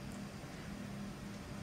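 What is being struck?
Nothing is struck.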